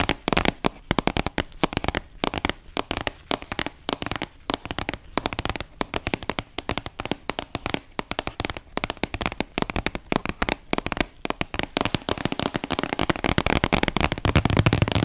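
Fingertips and nails rapidly tap and scratch the sides of a small, closed, printed white and yellow Karcher cardboard retail box held in both hands. Dense, dry, crackly clicks run throughout with almost no ring, growing louder and busier with scratching toward the end.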